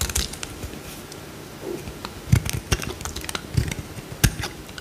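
A small, solid cream-colored bar of soap is cut and scraped with a metal utility knife blade, and chunks break off. The result is a series of short, dry crunching clicks and snaps over quiet low rumble, with sharper bright cracks standing out near the middle and end.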